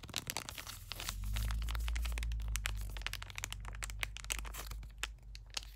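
A small, flat lilac plastic-foil skincare sample packet, seemingly filled, is held in both hands and tapped and scratched with fingertips and short nails. It makes quick, irregular crinkles and sharp bright ticks over a steady low rumble that swells in the middle.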